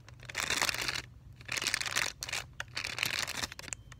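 A printed plastic film or Tyvek-like sealed pouch for a Valleylab electrode, about 20 cm and flat with a thin electrode pad inside, is held by a corner and flexed and crinkled with the fingertips. Bright, crackly crinkling comes in three bursts separated by brief quiet gaps, with very little low end.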